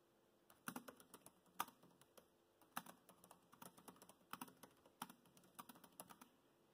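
Fingertips type on the black plastic chiclet keys of a dark grey laptop keyboard, giving a quiet run of short, dry clicks with brief pauses. The taps are crisp and clicky with a little bright edge, and a few land harder than the rest.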